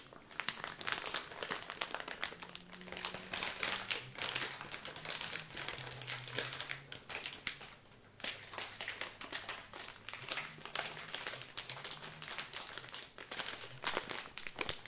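A filled blue soft plastic wet-wipes pouch is crumpled and rubbed with the fingers, giving dense, bright crinkling and crackling with quick, short-lived bursts. The crinkling runs almost continuously, with a brief pause just before the 8-second mark before it picks up again.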